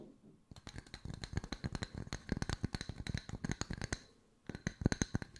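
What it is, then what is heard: Wooden slice coasters. Long nails tap quickly on two solid round wood-slice coasters held in the hands, with one briefly brought close to the camera. The taps are dry, short clicks with a soft, woody low thump and no ring. They come in a steady rapid run, pause for about half a second near the four-second mark, then resume.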